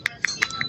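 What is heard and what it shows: Four quick taps on an original motorcycle CDI ignition module give short, bright clicks with a firm tone near 2 kHz that stops almost instantly. The tight, solid sound marks it as a genuine unit rather than a hollow-sounding local copy.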